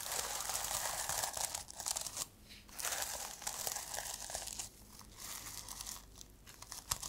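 Long nails scratch and brush across the plastic sequins on the fabric cover of a reversible sequin notebook held upright. The result is a dense, bright, crinkly rasping with quick ticks. It fades into brief quiet gaps around 2.5 and 5 seconds before the scratching resumes.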